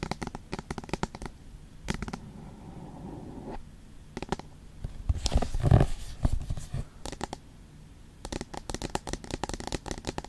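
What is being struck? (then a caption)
Aluminum tablet back. Long nails tap and scratch the back of an iPad, a thin solid aluminum shell with the Apple logo, held flat. Bursts of quick, dry taps alternate with stretches of rasping scratches across the metal, the scratching growing loudest around the middle. The sound is mostly low and dull, with little ring after each tap.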